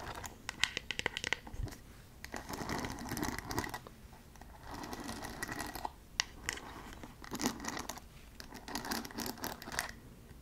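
Long acrylic nails scratch and tap across the wooden pin bristles and body of a handheld paddle hairbrush made of light bamboo wood. Dense, crackly scratching comes in bursts, broken by sharp, dry ticks and clicks that stop instantly.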